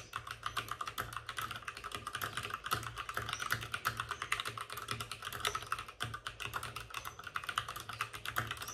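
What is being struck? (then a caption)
Plastic mechanical keyboard. Both hands with short-nailed fingertips rapidly tap the plastic keycaps of a white, full-size plastic mechanical keyboard with RGB backlighting, which sits on a desk with a padded wrist rest. The result is a dense, steady stream of crisp, bright clicks with some soft low thumps, continuing unbroken for the whole clip.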